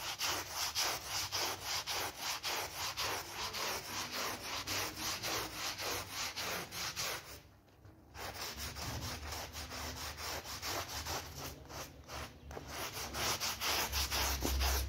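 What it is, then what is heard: Soapy synthetic pile rug being scrubbed. A blue bristle brush scrubs back and forth across a dark blue, soapy synthetic pile rug while a gloved hand holds it steady. It makes a steady, rhythmic stream of bright, hissing, wet rubbing strokes, with a brief quiet pause about halfway through before the scrubbing resumes.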